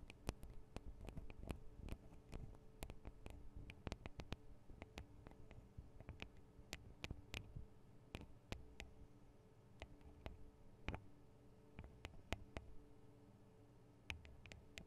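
Long acrylic nails tap the small hollow metal microphone capsules and their metal guard wings on a Tascam DR-40 recorder. The result is a quiet stream of sharp, dry clicks with almost no ring, spread irregularly over a low steady hum.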